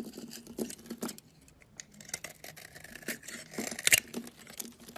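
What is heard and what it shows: A solid cream bar soap held in the hand is shaved and sliced with a utility knife, giving soft, crisp scraping and shaving sounds with short, bright snaps and almost no low end. Near the end, a piece is cut off with a louder, sharper crunch.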